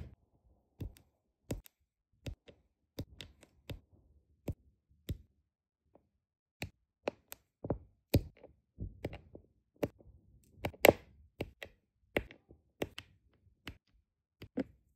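A plastic drill pen with a metal tip repeatedly taps small, solid, round resin diamond painting drills into place on a flat adhesive canvas. Each touch makes a short, dry click with a bright top edge and almost no ring. The clicks come at an irregular pace and are quiet.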